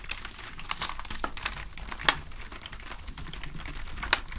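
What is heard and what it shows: Gloved fingers press and tap the keys of a full-size black plastic membrane gaming keyboard with a hollow casing, held up in the air. Soft, irregular taps and crinkly rustles are punctuated by a few sharper, bright clicks that die away almost instantly, over a low background rumble.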